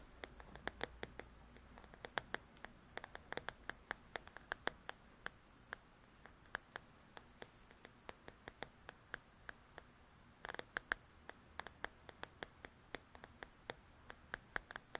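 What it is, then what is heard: Paperback coloring book cover, nails tapping and scratching. Long nails scratch and tap the cover of a paperback paper coloring book. Many quiet, dry, crisp taps click out irregularly over a soft rustling scratch, with a denser burst of scratching and tapping around ten and a half seconds. Each tap dies away almost instantly.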